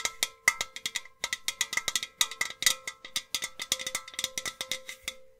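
Long nails tap quickly on a tall, hollow, empty white painted metal milk-churn style vase with two handles and a black rim. About thirty-three bright, metallic ticks land in an uneven rhythm. Each has a faint ringing tone near 2 kHz and a lower hollow hum around 500 Hz that fades almost at once.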